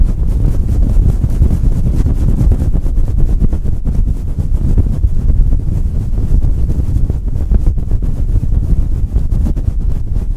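Fingertips of both hands rub and scratch a fluffy synthetic-fur windscreen fitted over the head of a Blue Yeti microphone. The result is a dense, steady, muffled rumbling scrape with rapid crackly texture. Almost all of the sound sits in the low end, with no bright content.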